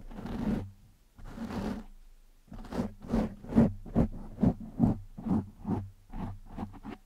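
Fingertips and short nails slowly scratch a black foam windscreen over a microphone. Two long, rough scratching strokes are followed by a run of shorter, quicker strokes, each a dense, muffled rustle with a low, steady undertone.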